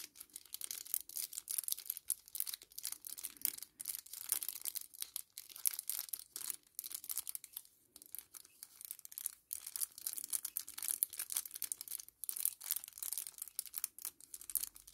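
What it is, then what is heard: Kraft paper sachet. A small flat kraft paper sachet is held in the hands and crinkled and flexed with the fingertips. The result is a continuous run of quiet, dry, bright crackles and rustles with short crisp bursts and no low-end body.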